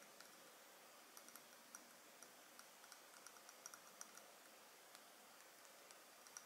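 A palm-sized Dolce&Gabbana The One lace edition perfume, a rectangular glass bottle filled with liquid and topped with a heavy gold metal cap, is held in both hands and tapped and scratched with long painted nails and fingertips on the glass and cap. About 16 quiet, bright, clicky taps sound like typing, each dying away almost at once, over a faint steady hiss.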